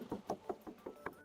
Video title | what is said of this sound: SPILL IGNIS SUPER MURAH CUMA 100 JUTAAN - MOBIL IRIT DAN GESIT | masih berat kaleng ya